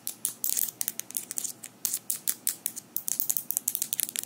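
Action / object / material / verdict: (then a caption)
tap / small metal fingerpicks worn on the fingers / metal / none. Small metal fingerpicks worn on the fingers of both hands tap and click against each other as the fingers interlock close to the microphone. Around two dozen quick, dry, bright metallic clicks arrive in an irregular rhythm, each dying away almost instantly, with almost no low end.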